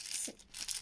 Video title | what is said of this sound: fun fidgets😎😎😎 | If you shake it, it sounds like a maraca